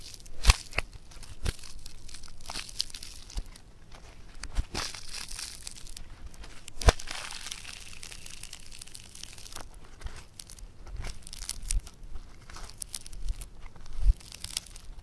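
Fingers tear apart a piece of multicolor blue foam bead clay (floam) with a yellow-green patch, then squeeze it into a ball. The beads give off a steady, bright crackling and crinkling, broken by a few sharp, louder snaps as the clay pulls apart and is pressed together.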